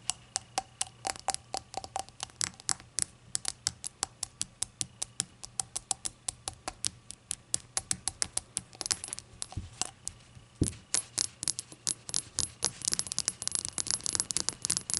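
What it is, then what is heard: Glazed ceramic shot glass. Long acrylic nails tap rapidly on a small, hollow, empty glazed ceramic shot glass resting on a towel. The taps are bright, crisp clicks that stop almost at once, with a busier stretch of denser tapping and a single duller thud near the middle.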